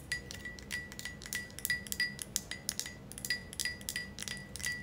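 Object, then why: Thick glass ashtray tapped with fingernails. Long acrylic nails tap the outside of an empty, thick, wavy green glass ashtray in a quick, uneven run of light clicks. Each tap gives a bright glassy ping with a faint high ring that dies away almost at once, over a soft low background hum.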